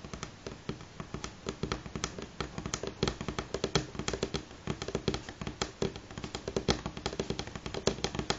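Fingernails on both hands tap quickly on a solid light pine tabletop. A steady stream of dozens of short, dry clicks with little ring comes through, each carrying a woody knock around 400 Hz and a bright edge.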